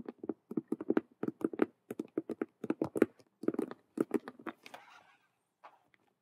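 Long nails on both hands tap and scratch fast across the front face of a large, hollow, cube-shaped patent faux leather (patent vinyl) Rubik's cube handbag with stitched colored patches. A rapid run of about 27 hollow, muffled taps sounds in the low-mid range, followed by a brief soft scratchy rustle and a few faint final taps.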